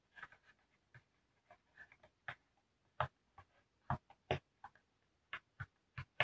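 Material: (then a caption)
Cardboard. Fingertips and short nails tap and scratch across the top of a medium brown corrugated cardboard shipping box, which is hollow, partly opened and held steady. Short, dry, separate knocks come in an irregular rhythm, with a hollow low thump under bright papery clicks. Each tap dies away almost at once in a quiet space.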